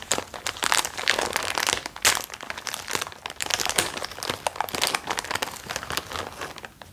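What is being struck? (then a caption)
Thin plastic wrapping on a cotton roll. Fingertips and nails pick at and crinkle the thin clear plastic wrap around a large white cylindrical roll of cotton lying on a towel. A dense, continuous run of bright, crackling crinkles and scratchy snaps fills the clip, with quick sharp spikes rising and falling throughout.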